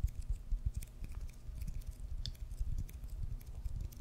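Fingertips and nails scratch and tap the white leather cover and red stitching of a solid regulation baseball held close to the mic near the face. The result is a quiet, irregular stream of muffled low thumps and soft scraping, with faint bright clicks from the nails.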